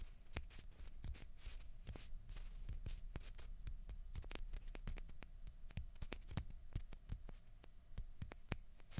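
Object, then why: Plastic ping pong balls. Two small hollow white plastic ping pong balls, one held in each hand, are tapped and scratched with long fingernails. Rapid, dense, crisp clicks and light scraping come through with very short ring, over a low rumble.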